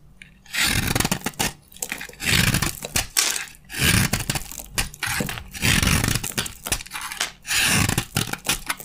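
A utility knife blade scrapes and carves crunchy curls from a green-yellow, solid, hand-sized bar of dry soap held in the palm. Repeated bursts of dry, crackling scraping carry a bright, gritty hiss over a low thudding body, with short pauses between strokes.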